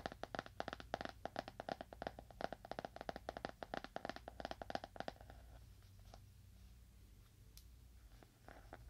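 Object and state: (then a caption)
Leather-bound book. A leather-bound book is tapped with fingernails at a moderate to fast pace, giving a dense run of short, crisp clicks with a mid-range knock for about five seconds. The tapping then drops to a few quieter, scattered taps over a low background hum.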